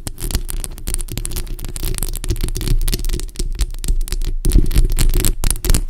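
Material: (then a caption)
Metal mesh. A bare, hollow black metal mesh microphone grille is scratched with long acrylic nails on both hands. This produces a dense, irregular run of crackly scraping and rasping with a strong low-end rumble and a bright hiss on top. The sound continues without a break for the whole clip.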